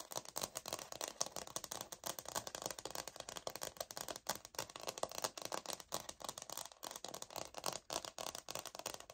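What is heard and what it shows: Long nails scratch along the textured grain of a light oak laminate wood-look floor sample plank held upright. The result is a quiet, dense run of rapid, dry scratching strokes that is bright and hissy, with almost no low end and no ringing after each stroke.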